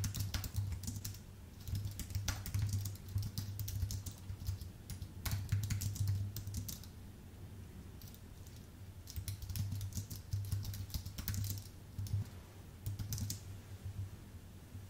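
Fingertips of both hands type on a white, full-size Apple Magic Keyboard with numpad, its plastic keycaps set on a thin aluminium base. Rapid, short, bright key clicks come in bursts, with a quieter pause around the middle. A steady low hum sits beneath throughout.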